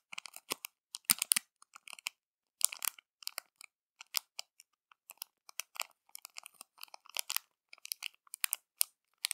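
Long matte nails scratch and tap a small, flat, clear plastic zip bag holding crumpled silver foil as it lies on a dark cloth. The result is quiet, bright crinkling and crackling in many short, irregular bursts with almost no low end, each snap dying away almost instantly.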